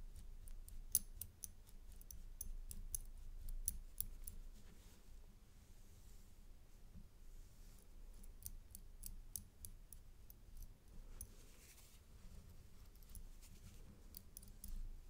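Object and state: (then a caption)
Metal chain necklace with coin pendant. A gold metal paperclip chain necklace with a coin pendant is held in gloved hands while its coin pendant and clasp are tapped with a brush tool. Quiet, bright, sharp clicks and ticks come in irregular bursts over a soft low rumble, with a calmer stretch in the middle. Each tap dies away almost instantly.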